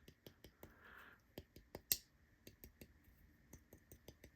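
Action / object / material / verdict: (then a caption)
tap / carbon fiber folding knife with crossbar lock / carbon fiber / no rattle. A brand-new, never-disassembled folding knife with a crossbar lock and carbon fiber scales is tapped repeatedly for comparison, giving a series of short, bright clicks with one louder tap partway through. The taps end cleanly with no rattle.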